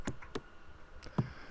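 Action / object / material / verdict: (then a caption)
knock / oak tree limb / wood / hollow. Several dull, low thumps strike a fungus-riddled oak limb with mycelium growth inside, each hit short and hollow-sounding with almost no ring. The hollow knock reveals internal decay, so the limb has to be cut back.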